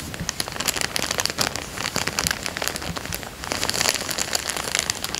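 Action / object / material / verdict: scrape / thin plastic coin bag / plastic / none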